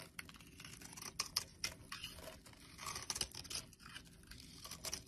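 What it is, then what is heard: Bar soap being shaved. A hand-sized, solid oval bar of blue soap is held in the palm and shaved into chunky flakes with a metal utility blade. The blade makes a series of crisp, bright scraping and crackling strokes, with a few sharper clicks as flakes break away. The sound is quiet, with very little low end.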